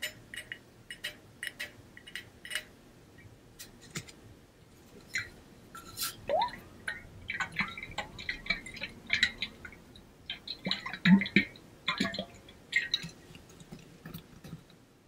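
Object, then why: Coated stainless steel water bottle with liquid inside. A hollow stainless steel water bottle with a pink-blue ombre coating is moved from ear to ear and tapped with fingertips and nails. Quick, bright metallic clicks and taps ring briefly, and the liquid inside sloshes now and then as the bottle is shaken.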